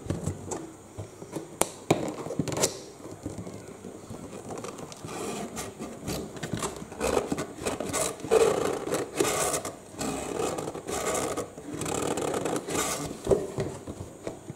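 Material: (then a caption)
Cardboard. Fingertips and nails tap and scratch the printed front of a medium-sized, hollow cardboard UPS box, then its green end flap held upright. Sharp, short taps mix with dry, papery scratching and rubbing in a hollow midrange tone with bright, hissy edges, sometimes pausing and then growing busier.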